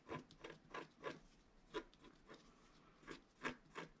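A wooden stylus scratches strokes into the black coating of a flat scratch art card (black-coated paper board) while the other hand holds the sheet. Quiet, short dry scraping strokes come in an uneven rhythm, each a brief broadband rasp with a mid-range body and some bright hiss, and little ring after each stroke.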